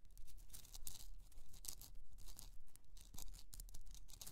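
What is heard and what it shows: Long nails scratch and tap the top and sides of a rough, pink, hollowed Himalayan rock-salt candle holder resting on fur. The result is a quick, fairly steady run of dry, bright scraping strokes, with short scratchy bursts and soft low taps underneath.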